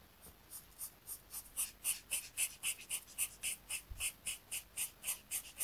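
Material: Paper.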